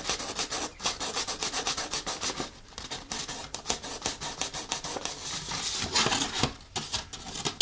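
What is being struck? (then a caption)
Thin folded paper leaflet. Fingertips and nails rub and scratch a thin folded paper instruction leaflet. The result is a steady run of bright, dry rasping strokes with very little low end, briefly easing in the middle before picking up again.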